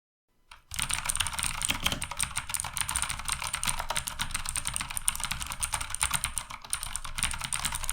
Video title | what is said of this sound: Sades Rebellion - Keyboard Mechanical Low Budget | kliknya ini Jadi terdengar lebih nyaring karena memang bagian dalam dari casingnya ini kopong jadi emang suaranya terdengar kopong